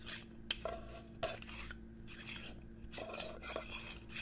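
Fingernails scratch and tap a medium-size, hollow, clear glass perfume-style bottle with a gold cap, held by hand close to the microphone. Bright, rasping scrapes are broken by two sharp, high clicks that die away almost instantly, over a faint steady low hum.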